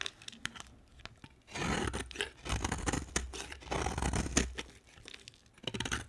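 A utility knife blade shaves along the edge of a solid, dry cream soap bar, peeling off crisp curls. Several crunchy, tearing scrapes rise and fall, with short sharp clicks and quiet pauses between strokes.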